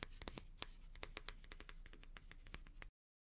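Long painted nails scratch and stroke the stiff natural bristles of an oval, hand-sized wooden bath brush with a wooden back and a white strap, held bristles up. The result is a quick, uneven run of bright, crackly scratches and brushy rasps over a low rumble, lasting about three seconds before it stops abruptly into silence.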